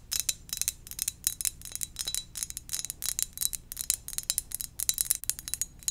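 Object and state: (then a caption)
Ceramic mug. Gentle, rapid tapping on a ceramic donut-shaped mug produces a steady stream of short, bright clinks. Each tap rings out almost instantly, leaving a quiet, crisp high-pitched texture with very little low end.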